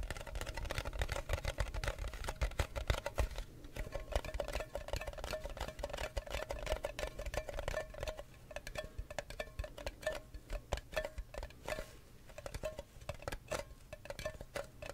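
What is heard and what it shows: Long nails tap and scratch the lid and sides of a square metal tea tin with a lid, which likely holds tea. A dense run of quick, light taps and scrapes carries a faint metallic ring near 600 Hz over a low, dull body. The clicking stays steady and soft throughout, with short gaps between bursts.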